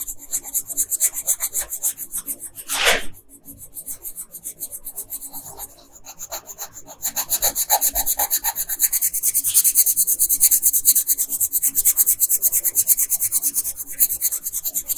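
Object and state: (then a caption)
Colored pencil scratching on a paper sheet. A red colored pencil scratches a flat printed paper coloring sheet in fast, rasping back-and-forth strokes while coloring in the dress. The steady bright, papery scratching has one louder swipe near the three-second mark and a quieter stretch after it. From about seven seconds on, the strokes grow denser and brighter.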